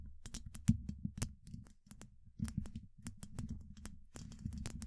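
Long acrylic nail tips from both hands tap rapidly and irregularly on a hollow, rounded steel mesh microphone grille. Each tap gives a soft, low thump with a faint bright click on top and almost no ring, and a few taps land harder than the rest.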